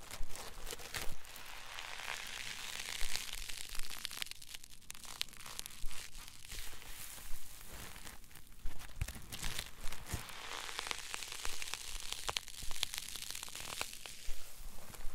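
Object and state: Polyethylene foam block, squeezed.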